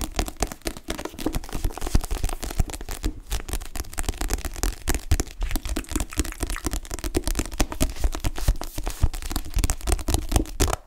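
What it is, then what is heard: Paperback book. Fingertips with short-to-medium nails tap and grip the back cover of a dark paperback book with a glossy cardstock cover and paper pages, held upright. The result is a steady stream of quick, dry, low thumping taps with brief scratchy grips mixed in, each tap dying away almost at once.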